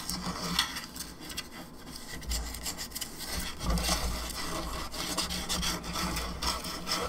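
Long nails scratch the sides and top of a hollow plastic skull candelabra lamp, making a steady, dry rasping with bright, high scratchy detail over a low hollow rumble. The scraping runs continuously with small swells in loudness throughout.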